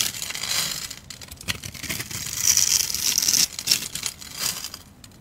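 A metal utility blade scrapes and carves small cubes from a hand-held solid bar of translucent yellow soap with a pre-scored cube grid. The result is a steady run of crisp, bright scraping and crumbly crunching, almost all high-pitched with very little low end. It swells louder in the middle, with a faint high squeal, before thinning out at the end.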